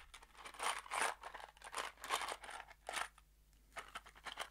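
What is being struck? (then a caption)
Small cardboard box with metal screws inside. A small kraft cardboard box holding screws is shaken in an open hand. Bursts of dry, crunchy rattling and bright clatter come in uneven waves, with short quiet gaps between shakes.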